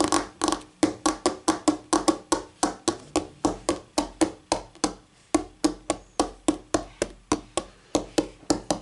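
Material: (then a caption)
Laminate. Fingertips and nails of both hands tap and click on a flat, solid white laminate tabletop. There are about 32 quick, dry taps at an uneven pace, each a sharp click with a faint hollow tone around 312 Hz and bright edges. Each dies away almost at once.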